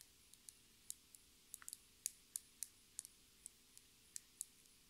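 Long red nails tap a small clear plastic lip gloss tube with a gold cap, held in the hands. About fifteen quiet, sharp, high-pitched clicks come at an uneven, slow pace. Each one dies away almost instantly.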